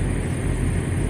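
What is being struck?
Nothing is struck.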